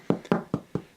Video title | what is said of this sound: Anyone can make this BREAD!! Simple step by step no knead rustic artisan bread | You'll hear that real nice light tap to it.